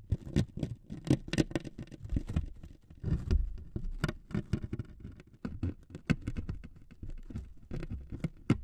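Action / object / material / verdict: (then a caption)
scrape / thin wood veneer strip / wood veneer / none. Two metal needles scrape and scratch the surface of a thin wood veneer sheet resting on two microphones. The result is a dense, uneven patter of short, dry scratches, mostly low and soft, with occasional sharper, brighter ticks.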